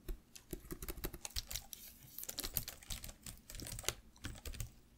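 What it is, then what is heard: Plastic laptop keyboard, fast typing. Fast typing with fingertips and nails on the plastic keys of a black laptop keyboard. Quick, dry clicks follow one another in an uneven rhythm, each with a bright, crisp top and a low thud underneath, with several louder taps standing out. Each click dies away almost instantly.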